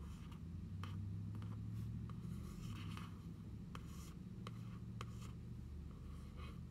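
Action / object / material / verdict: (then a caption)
scrape / cardboard notebook cover / cardboard / none. A single long nail traces and scratches along the printed designs on the cardboard cover of a closed journal. Faint, dry scratching strokes are broken by brief, sharp clicks over a steady low hum, all at a quiet level.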